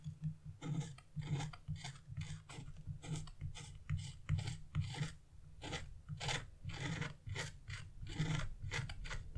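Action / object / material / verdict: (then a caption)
scrape / wax-coated scratch-art paper / coated paper / none. A wooden-handled chisel, held by fingers with blue nails, scrapes across black wax-coated scratch-art paper, removing the black coating. Short, dry rasping strokes repeat in quick bursts, with bright scratchy edges over a steady low hum.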